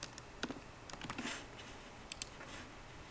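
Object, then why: Laptop keyboard with plastic keys in an aluminium body. Fingertips of both hands type on a 13-inch MacBook Pro keyboard with plastic keys set in an aluminum body. Quiet, short clicks and taps come in an uneven scatter, with a light clatter in the middle and two sharper bright clicks near the end. Each keystroke dies away almost instantly, leaving a soft, high-toned ticking over a low background hiss.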